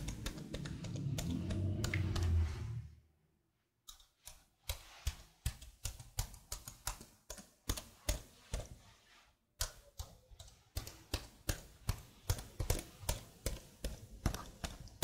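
Fingertips with blue nails type and tap on the keys of a black plastic laptop keyboard set behind the mic. It opens with about three seconds of dense, low, muffled clattering, then a brief silence. Steady sharp, bright clicks follow in uneven runs, with a short pause near the middle.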